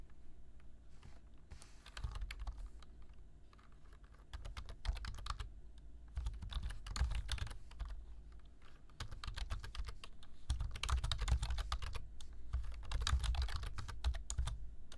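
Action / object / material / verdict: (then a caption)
tap / plastic computer keyboard / plastic / none. Fingertips type on a black plastic computer keyboard, tapping the keys in quick, uneven bursts of short, crisp clicks with brief pauses between runs. A steady low hum sits underneath, and the bright, dry key clicks fade almost instantly.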